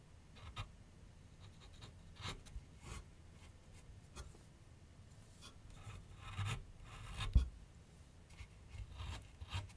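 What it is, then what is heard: Pencil scratching on a canvas board. A pencil tip scratches and shades lines across a medium white canvas/paper board resting on a wooden easel. Quiet, dry scratching and rubbing strokes come in short bursts over a low background rumble, with brighter hiss on each stroke. One firmer, louder stroke lands about three-quarters of the way through.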